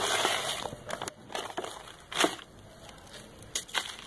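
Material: Sand.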